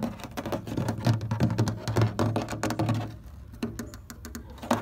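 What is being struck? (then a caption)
Molded plastic chair panel. Short fingernails and fingertips tap quickly across a large, thin, hollow beige molded plastic chair panel with ribs and bolt bosses. The taps come in a fast, irregular patter of dull, hollow low thumps, each with a crisp nail click. After the first three seconds they thin out and grow quieter, with a few sharper clicks near the end.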